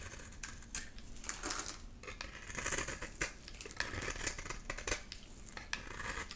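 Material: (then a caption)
Soap. A metal blade scrapes and cuts crumbly pink shavings from a solid pink bar of soap held in one hand. The sound is a steady run of dry, crisp scraping strokes with bright, crackly detail and short sharp snaps as the blade bites and shavings break away, each dying out almost at once.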